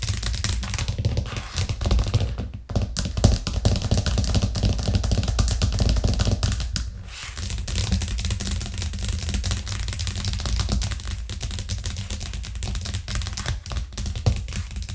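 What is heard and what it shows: Long nails tap rapidly on a thin, solid white plastic cutting board with a green rim, lying flat on a cork coaster. The result is a fast, dense stream of short clicks and hollow taps over a heavy low thump, with brief pauses near 2.5 and 7 seconds.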